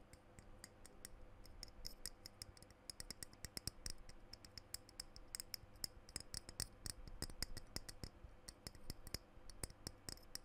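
Fingernails tap and scratch the glass body of a small dark blue glass perfume bottle with a silver cap, held close to the microphone. Quick, bright clicks come in a steady irregular stream over a faint scratchy texture and a low rumble, and each tap dies away almost instantly.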